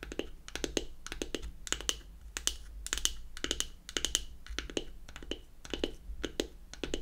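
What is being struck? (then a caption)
Wooden powder compact. Long acrylic nails tap quickly across the top of a closed, hollow, square unfinished beech-wood powder compact. Each tap is a short, bright click with a soft hollow knock beneath it, and it dies away almost at once. The taps come in quick clusters over a faint, steady low hum.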